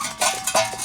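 A removed steel exhaust muffler from a 1991 Jeep Wrangler is shaken to check for loose debris as the source of an exhaust noise. Two short, bright metallic clanks ring out with a tone around 650 Hz. No rattles follow, so the muffler was not causing the noise.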